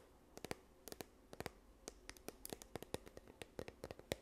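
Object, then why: Plastic squeeze tube. A yellow plastic sunscreen tube is held near the microphone and scratched with long nails along its body. About two dozen quiet, sharp, dry ticks and scrapes arrive in an irregular rhythm, each bright and gone almost instantly, over a faint midrange tone.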